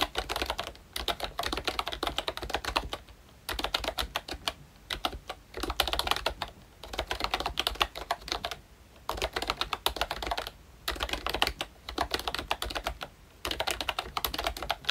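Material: Plastic.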